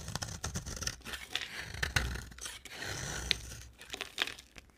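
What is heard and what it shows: An oval, solid bar of dry white soap is held in the hand and scraped with a box cutter blade, shaving off curls that pile up. Crisp, dry scraping and tearing strokes come in uneven bursts, bright and papery with a soft low rustle beneath.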